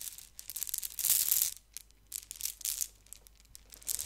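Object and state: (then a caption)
Mesh-covered squishy stress ball. A hand-sized squishy stress ball, colorful soft beads inside a white net mesh, is held and squeezed, then rubbed and scratched with long painted fingernails close to the microphone. The sound is a series of bright, crackly scratching and crinkling bursts with almost no low end, the loudest burst coming about a second in, with short quiet gaps between them.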